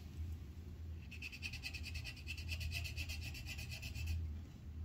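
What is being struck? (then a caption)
Colored pencil on a paper sheet on a clipboard. A red colored pencil tip rubs and scratches back and forth on a thin white paper coloring sheet held on a clipboard on a flat surface, shading a flower pot. A rapid run of bright, scratchy strokes is heard from about one to four seconds over a steady low rumble, then the scratching stops.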